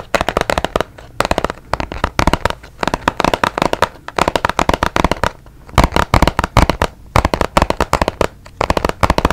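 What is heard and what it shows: A small, hollow, white and blue printed cardboard box is held beside the mic and tapped with fingertips and nails. Rapid bursts of dry, crisp taps come in clusters separated by brief pauses, each tap decaying almost instantly. A low, hollow thump sits under the brighter clicks.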